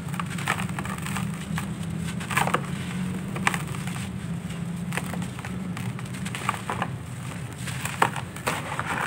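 Bare hands squeeze and crush dry, grainy sandy clay lumps in a red plastic basin, breaking them into crumbling powder. A steady gritty crunching runs throughout, dotted with sharp, bright crackles and snaps over a low, muffled rumble.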